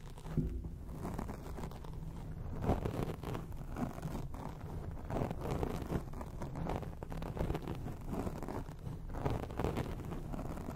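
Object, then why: Foam microphone windscreen. A grey foam microphone windscreen is scratched quickly on both sides with long acrylic nails. The result is a steady, muffled, crunchy rustling, heavy in low rumble with little bright content, and small louder bursts throughout.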